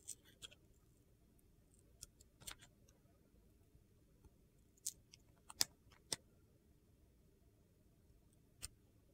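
A metal utility knife blade carves a solid yellow glitter bar of soap, peeling glitter-coated slices away from its white interior. Eight short, bright, crunchy clicks and scrapes sound at irregular intervals over a quiet, low background hiss, each dying away almost instantly.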